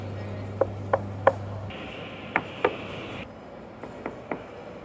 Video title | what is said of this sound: Secrets of Newcastle Central Station | these replacement columns are actually hollow inside and you can confirm that by knocking on them